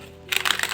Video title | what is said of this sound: ХЛІБ НА ЗАКВАСЦІ | якщо постукати по хлібчику має бути такий глухий звук що свідчить про його готовність